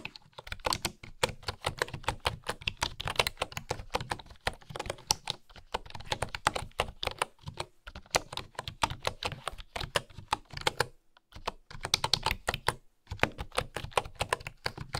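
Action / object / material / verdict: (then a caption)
tap / bamboo keyboard with wooden keys / bamboo / none. A bamboo keyboard with flat wooden keys is typed on with fingernail-tipped fingers, producing rapid, dry, bright clicks. The clicks come in dense bursts, broken by a few brief pauses.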